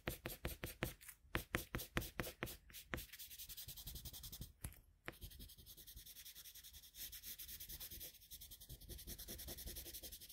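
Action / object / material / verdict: scrape / colored pencil on a paper drawing sheet / paper / none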